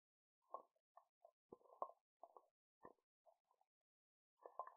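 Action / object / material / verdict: tap / glass candle jar with lid / glass / none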